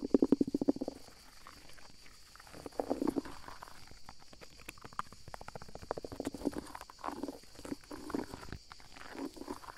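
Fingertips and nails scratch and rub the mossy bark of a large, solid fallen tree trunk lying on the forest floor, partly covered in green moss and bark, close to a handheld microphone. A quick run of louder, crackly scratches opens the clip, followed by softer, dense rubbing and scraping in uneven bursts. A faint, steady high tone sits in the background throughout.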